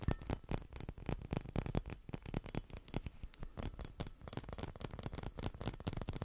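A small hollow clear glass Christmas bauble with a metal cap and green ribbon is held in both hands and tapped and scratched with fingertips and nails. A rapid, steady stream of short, dry taps and clicks sounds with very little ring, carrying a soft low thump and faint scratchy rustle between them.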